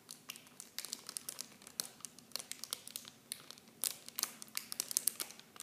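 A small clear plastic film bag holding blue plastic mini shampoo bottles is held in both hands while fingertips and long painted nails squeeze and crinkle it. The result is a quiet, steady stream of dense, bright crinkling with many sharp, short crackles and almost no low end.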